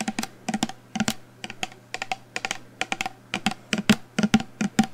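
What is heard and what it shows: A full black plastic shower gel bottle with a pump cap is held up and tapped rapidly with long nails. The taps come as quick, irregular clicks, a hollow knock around 211 Hz with bright clicky edges, dying away almost at once. A faint steady low hum runs underneath.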